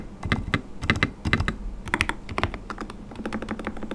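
A full-size white RK100 mechanical keyboard with transparent polycarbonate keycaps and linear switches, sitting on a desk mat, is typed on with the fingertips of both hands. The sound is a fast run of short, dry clacks with a deep thock underneath and a bright click on top, and each keystroke dies away almost at once. The keystrokes come in uneven bursts and then settle into steadier typing.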